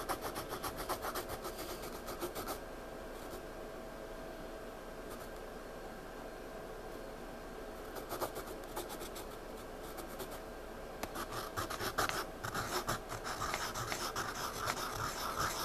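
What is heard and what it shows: A graphite pencil scratches and shades across a page of a spiral-bound paper sketchpad lying flat. Quick, dry rasping strokes come in bursts, then fade to a quiet hiss in the middle. The strokes return, ending in a steady run of bright scraping.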